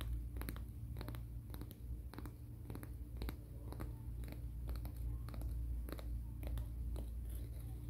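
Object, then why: Fingernails rubbed on an emery board. Fingernails are rubbed in a filing, scratching motion along the gritty surface of a black emery board nail file held diagonally. Quick, irregular, bright scratchy strokes repeat over a steady low hum that carries most of the energy.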